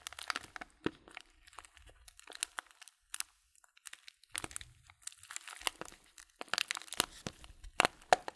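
A small white and red paper bag of Blutorange loose tea, filled and folded shut, is held in both hands while fingertips squeeze and crinkle the paper. Quiet bursts of sharp, dry crackling and crunching come in uneven clusters with short pauses between them. Each crackle is bright and dies out almost instantly, with a few louder snaps standing out near the end.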